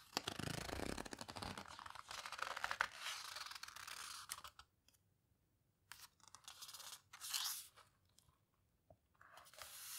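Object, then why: Heavy matte paper book pages. Hands with long red nails turn the pages of a large open photo book, Paper Houseboat, lying flat on a table, squeezing and rubbing its heavy, coarse matte paper between the fingers. Dense, bright, crinkly rustling and scraping fills the first four seconds, then gives way to near silence broken by short bursts of paper rustle.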